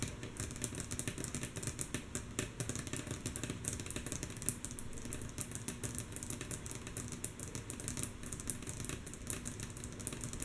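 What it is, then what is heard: Wooden tabletop tapped with fingernails. Long natural nails of both hands tap fast on a flat, solid, light wooden tabletop. The quick, mostly soft taps run together in a steady rhythmic patter. Each tap has a short bright click over a low, rumbling body.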